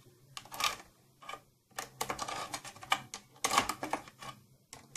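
Long nails tap and scratch the glossy surface of a closed, hollow purple plastic tattoo kit case near its latch. Quick, bright, clicky taps mix with scratchy bursts in uneven clusters separated by short pauses, and each sound dies away almost at once with a light hollow plastic tone.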